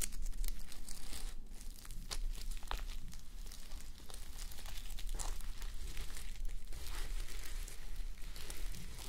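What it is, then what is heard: Sequin fabric sleep mask being scratched. Fingertips and nails rub and scratch across a flip-sequin sleep mask, plastic sequins on fabric, fitted on a mannequin head. The result is a steady, close crinkling and scratching rustle with bright, sharp flicks as the sequins flip, over a constant low hum.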